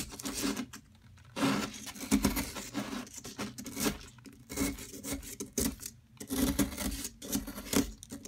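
A metal pick digs into and scrapes a solid yellow plaster block held by a hand with long metallic nails. Gritty, crumbly scraping comes in uneven bursts with short quiet pauses between strokes, carrying a low hum of body beneath a bright, rough texture.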